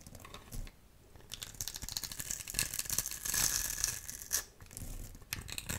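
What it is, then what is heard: Dry soap bar being scraped. A metal utility knife blade scores and scrapes a solid, rectangular, dry blue soap bar held in the hand, shaving it into small flakes. The clip is a dense run of bright, dry, crinkly scraping with a short quiet pause near the start. Louder grating strokes build up in the middle and return near the end.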